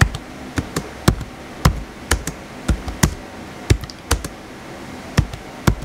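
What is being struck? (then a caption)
Plastic laptop keyboard. Fingertips type on the white plastic keys of a blue plastic laptop keyboard, giving a string of short, dry taps at an uneven pace. Each keystroke is a quick, low, hollow thud with a faint bright click on top that dies away almost instantly over a quiet background.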